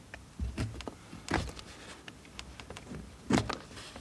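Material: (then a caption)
Soap. A steel knife blade cuts and scrapes shavings off a solid blue bar of soap held in the hand. Soft, irregular scraping strokes with a dull low body and crisp, bright edges surge into louder cuts near the start, middle and end, over a quiet background.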